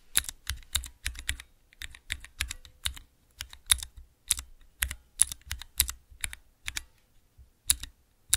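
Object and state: Plastic key switch tester being pressed.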